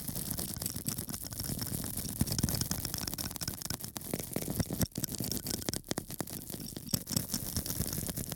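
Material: Foam.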